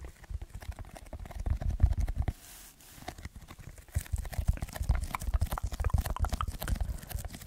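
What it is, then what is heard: Foam block being scratched and tapped. Fingertips and short nails scratch and tap the surface of a soft, lightweight, rectangular red textured packing foam block held in both hands near the microphone. The result is a dense run of rapid, dull, low-heavy scratches and taps, with a brief quieter stretch of soft hiss around the middle before the scratching picks up again.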